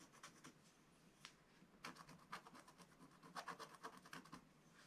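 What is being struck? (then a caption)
Wax-coated scratch-art paper scraped with a wooden stylus. A wooden stylus scratches and rubs the black coating of a scratch-art card page in a spiral book. Quiet, dry, bright scratching strokes come in an irregular rhythm, with a few louder strokes toward the end, each dying away almost at once.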